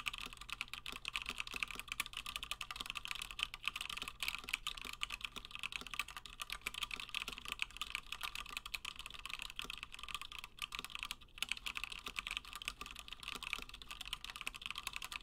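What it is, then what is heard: Mechanical keyboard with PBT plastic keycaps. Fingertips of both hands type continuously on a Gingham 60% plateless mechanical keyboard with Gateron Black switches and cream and blue PBT plastic keycaps. The result is a steady, rapid stream of short, bright clacking keystrokes with almost no ring after each press and very little low end.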